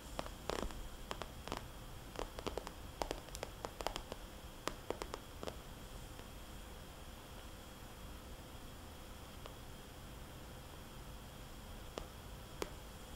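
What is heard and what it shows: Long nails slowly tap a small red polka-dot glossy plastic cosmetics bag lying flat and trace circles on its surface. Sharp, crisp clicks cluster in the first five seconds over a soft, steady hiss. Then only a few isolated taps break a quieter stretch of faint rustling scratches.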